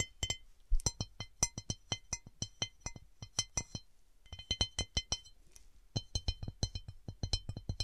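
Long nails tap and scratch across the deeply textured starburst pattern of a large, empty round cut glass serving dish held tilted. About 28 quick, separate taps sound in two bursts with a brief pause near the middle. Each tap is a short, bright glassy click with a dull low thump beneath it, dying away almost instantly.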